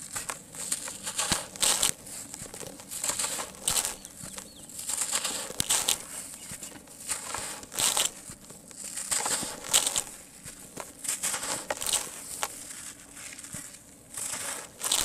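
Fingertips squeeze a large, solid, dry sand-cement lump held over a tub, crushing off crumbly pieces as dry grains fall. Irregular bursts of bright, gritty crunching and crackling rise and fade over a faint hiss of trickling grains, with little low end.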